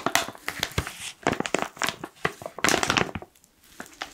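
A black foil-lined plastic coffee pouch is held upright in both hands while the fingers squeeze and crinkle its sides. Dense, bright crackling bursts come in quick clusters, then fade to a near-quiet pause before a few softer crinkles at the end.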